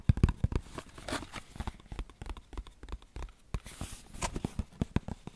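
A small, hollow, printed cardboard tea box is tapped and scratched with fingernails on its top and sides. A rapid, uneven run of dull, low, hollow taps dies away almost instantly, with brief brighter scratching hiss between them.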